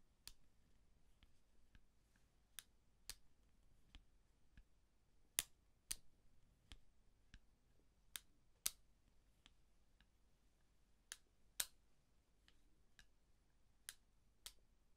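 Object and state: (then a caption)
Eyeglasses hinge clicks. A pair of eyeglasses with a thin dark frame and lenses, small and solid, is held off the face in both hands while the temple arms are folded and unfolded with the fingertips. About a dozen sparse, sharp hinge clicks and ticks sound over a quiet background, each bright, dry and stopping instantly with no ring.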